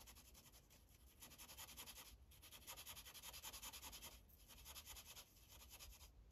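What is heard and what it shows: A magenta Sharpie marker held in the fingers rubs its felt tip across a thin white printed coloring page clipped to a translucent plastic clipboard, making rapid back-and-forth coloring strokes. The result is a quiet, bright, scratchy rubbing hiss that pulses with each stroke and breaks off briefly a few times before continuing.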